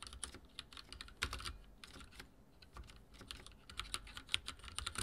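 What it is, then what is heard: Mechanical keyboard with plastic keycaps. Fingertips type on a backlit mechanical keyboard with dark plastic keycaps, producing a steady, uneven run of quick, bright clicks and clacks. Each keystroke is short and dry, with almost no ring, and a few louder taps stand out above the rest.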